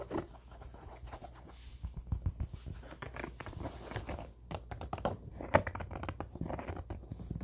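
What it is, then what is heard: Cotton baseball cap. Fingertips scratch along the crown seams of an empty, soft tan cotton baseball cap with eyelets and stitched panels. The result is a quiet run of soft, dry scratching and rustling with brief crinkly bursts over a low, muffled undertone, plus one sharper scrape near the end.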